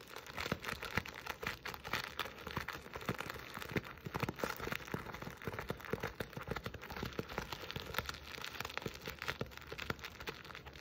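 A jute burlap Christmas stocking with a plaid appliqué letter A is held in both hands while long nails scratch and grip the coarse woven fabric and the appliqué edges. The result is a steady, quiet run of dense, rapid scratchy crackles and short bright rasps over a faint low hum, with no pauses.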